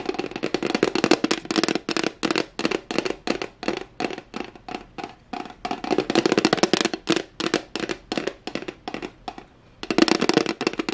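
Long glittery nails and fingertips rapidly tap and scratch the flat surface of a white plastic tray held up in the air. Dense bursts of sharp, dry clicks and scratchy rasps run almost continuously, with a hollow low-mid body and bright edges that die away instantly. There is a brief lull before a final flurry.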